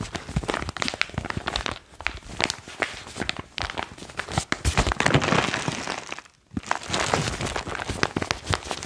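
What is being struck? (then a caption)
Foil-lined plastic pouch. Fingertips crinkle and squeeze a foil-lined plastic chalk pouch, then raise it above the head and shake it. Dense, bright crinkling and sharp crackles run throughout, with a brief near-silent gap about two-thirds of the way through before the crinkling resumes.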